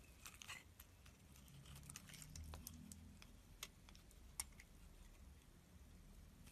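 A metal blade scrapes the surface of a solid light green bar of soap, making soft, crisp scratching and crackling with scattered bright ticks. A steady low rumble sits underneath throughout.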